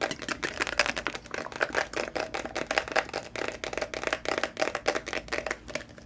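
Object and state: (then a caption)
Plastic phone case tapped and scratched. Fingernails tap and scratch the back of a patterned plastic smartphone case with a glitter pop socket, held close. The result is a rapid, steady run of dry, clicky plastic taps with a light scratchy texture. The sound is bright and thin with almost no low end, and each tap dies away almost at once.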